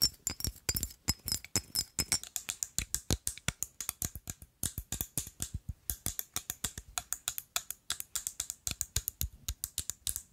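Long nails tap and scratch quickly on a rectangular, liquid-filled amber glass perfume bottle with a black cap, making about sixty sharp, bright clicks. Each tap is short and dry, with a faint high glassy ring and brief scratchy rasps between them.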